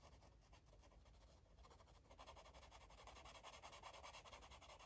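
A green marker makes quick, repeated rubbing strokes across a paper coloring book page, producing a soft, scratchy swish with a bright hiss. The strokes come at a fairly steady, rapid pace and grow louder and fuller about halfway through.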